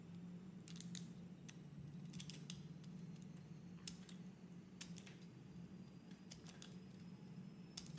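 A utility-knife blade scrapes and shaves thin curls off a solid, hand-sized, oval light-blue soap bar with an embossed leaf logo, held in a hand with red nails. Quiet, crisp scraping strokes come in short bright bursts over a steady low hum.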